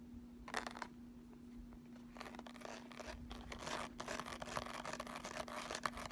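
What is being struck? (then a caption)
Embossed makeup palette case. Long nails scratch and tap the raised ridges and letters of a flat eyeshadow palette with a ridged sunburst-embossed lid, first held up and then laid flat. Quiet, dry, crinkly scratching comes in bursts with short bright ticks, over a faint steady low hum.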